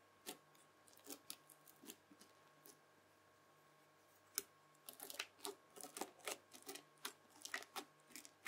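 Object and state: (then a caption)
Bead-filled floam slime. A white plastic fork scratches and drags across the bead surface of red bead-filled floam slime flattened on a table. It makes crisp, bright crunching clicks, sparse and quiet at first and then coming in a denser, irregular run over a faint steady hum.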